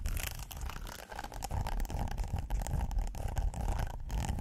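A flat, flexible red silicone pot holder with a ribbed texture, held in the hands, is scratched with fingernails. Continuous rough, rasping scratches run throughout, with a strong low rumble underneath and faint bright scraping texture on top.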